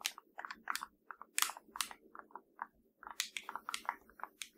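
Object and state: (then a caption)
Hollow plastic TV remote control. Long nails tap and scratch the buttons of a hollow black plastic LG TV remote, producing a quick, uneven run of dry, bright clicks. Each tap is sharp and dies away almost at once, with faint scratchy rasps between the taps.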